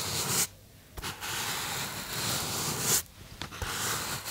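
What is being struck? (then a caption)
Polystyrene foam box. Fingertips rub and squeeze the surface of a small white polystyrene foam box or block held in both hands close to the microphone. The result is a bright, hissy, squeaky friction sound, interrupted by two short quiet pauses before the rubbing resumes.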